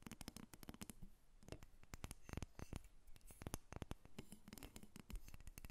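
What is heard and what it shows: Long acrylic nails tap and scratch a small, solid carved wooden dolphin figurine resting on a glass table, and the figurine is briefly lifted. A rapid run of dry, clicky taps with short thuds underneath mixes with soft scratching, and each hit dies away almost instantly.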